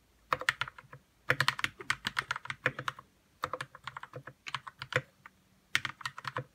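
Fingertips type on a white 60% RK61 mechanical keyboard with plastic keycaps and lubed red switches. Quick runs of short, bright clacking keystrokes come in four bursts separated by brief pauses. Each keystroke dies away almost instantly.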